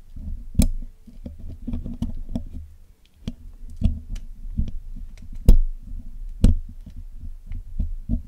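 A steel hook pick and steel tweezers pick and scratch the black hollow metal mesh grille of a Blue Yeti microphone while cleaning it. Close, low, muffled scraping and rubbing rumbles steadily, broken by irregular sharp, short clicks and taps with bright tips that stop almost instantly.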